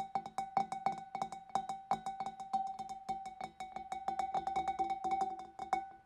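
Fingers and nails tap quickly and irregularly on the inside of the rim and neck of a large, clear, empty glass fish bowl. Each tap is a short, dry click with a faint ringing glass tone around 780 Hz that fades almost at once, over a steady run of quiet, brittle taps.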